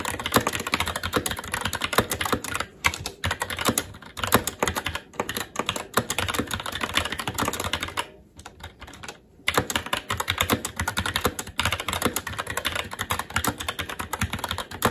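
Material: Plastic.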